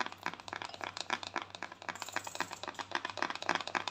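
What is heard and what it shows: A small round white plastic cosmetic jar is held in both hands while long thumbnails rapidly tap and scratch its lid. The result is a quick, uneven stream of dry, hollow clicks and scrapes that cut off fast, centered in the midrange with bright edges, over a faint steady low hum.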